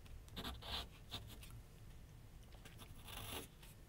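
A pencil held in the hand sketches and scratches curved lines on a large white paper sheet mounted on a flat board on an easel. Quick bright, scratchy strokes come in short bursts, with quieter pauses between them, over a soft low rumble.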